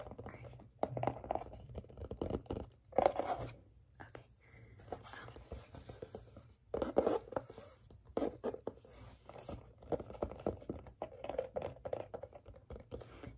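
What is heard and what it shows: A flat, rigid, book-sized teal printed paperboard album cover with orange lettering is held in both hands and scratched and tapped on its matte surface with fingertips and short nails. Soft, dry scratching and quick papery taps come in uneven bursts with brief pauses, some louder spurts standing out.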